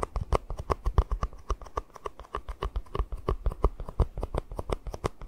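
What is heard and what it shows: A small, hollow, empty white plastic cup is held upside down above the mic and tapped and scratched with the fingertips. The result is a rapid, irregular run of short, dry, hollow knocks with a deep low thump and almost no ring, mixed with soft scratching between the taps.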